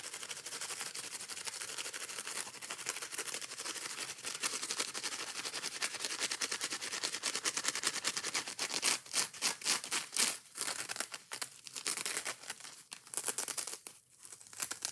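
Long nails quickly scratch the green scouring pad and tap the foam of a small yellow foam kitchen sponge. A dense, bright, hissy scratching runs steadily at first, then breaks into faster uneven bursts with short gaps in the second half.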